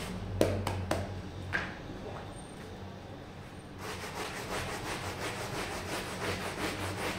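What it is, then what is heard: Wool pile rug being scrubbed. A red plastic hand brush scrubs back and forth across a small, soaked and foamy red patterned wool pile rug on a tile floor while a gloved hand holds the rug down. A few sharp knocks open the clip over a low, steady hum, followed by a quieter pause. Then a run of wet, rasping strokes repeats at about two per second.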